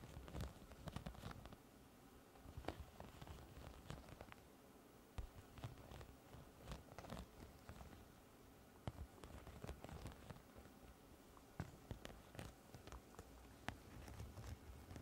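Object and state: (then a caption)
Studded plastic pouch. Long nails scratch and tap across a large iridescent, holographic pouch with a raised studded plastic or vinyl surface that is soft and hollow. The result is quiet, low-heavy scratchy rustling broken by short, sharp clicking taps that die away almost instantly, with brief bright ticks scattered throughout.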